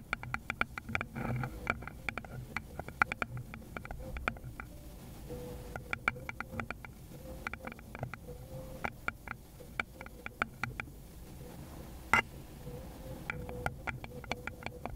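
Long, pointed gloved nails quickly tap and scratch the base of a small, hollow, round wooden bowl held up with its base facing outward. Rapid, sharp clicks with a short hollow ring come in uneven bursts over a soft scratching texture and a steady low background hum.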